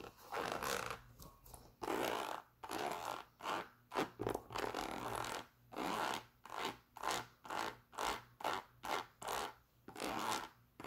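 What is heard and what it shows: Long nails scratch the leather upper and the patterned rubber outsole of a white leather Adidas Superstar sneaker. The result is a run of short, dry, raspy scraping strokes in quick succession, each broad and bright with a brief tail, separated by near-silent gaps.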